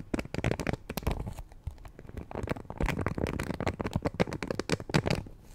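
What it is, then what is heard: Plastic hairbrush bristles being scratched and plucked. Long painted nails scratch and pluck the thin bristles of a black plastic Conair paddle hairbrush held face-up. The result is a dense, rapid run of dry crackling clicks and snaps in uneven bursts, close and low-heavy, with short pauses between flurries.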